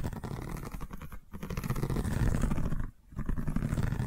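Long nails scratch across a long cylindrical woven seagrass tube covered in a straw weave. The result is a dense, low, rumbling scrape with quick, uneven textured strokes, briefly dropping out around 1.3 seconds and again near 3 seconds before resuming.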